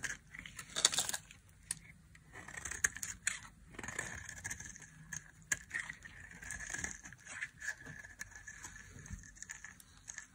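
A solid, dry olive-green olive oil soap bar held in the hand has its edge shaved and cut with a flat metal blade, and crumbly chunks break off. Quick, dry, bright scraping and crackling strokes come one after another, each short with almost no ring, over a soft hiss.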